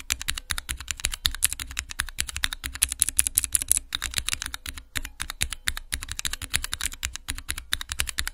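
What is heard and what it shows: Long-nailed fingertips rapidly press the keys of a small multi-key Cherry MX mechanical switch tester with clear, transparent plastic keycaps and hollow plastic housings, resting on a black cloth. A dense, fast run of sharp, bright clicks and clacks comes with a light low thump beneath each keystroke. Each press dies out almost instantly, with brief pauses between bursts.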